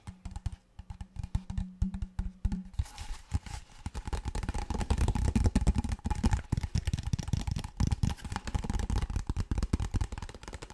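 Fingertips and nails tap and scratch a large, clear, apparently empty PET plastic water bottle on its cap, body and bottom. Sparse hollow taps over a faint low hum give way to dense, rapid tapping and scratching that is heaviest in the low end and loudest in the middle. Each short, dry tap dies away almost instantly.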